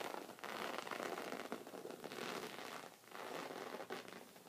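Red-painted fingernails scratch along the surface of a folded white woven fabric rug resting on a wooden table. The result is a steady, dense, scratchy rustle with almost no low end, rising and dipping in brief swells over a few seconds.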